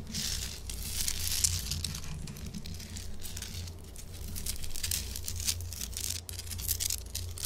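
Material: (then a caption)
Rock salt. Long acrylic nails scratch and tap fast on a large, solid pink Himalayan salt chunk held upright. Dense, bright, crinkly scratching comes in rapid bursts over a steady low hum, with a few sharper taps poking through.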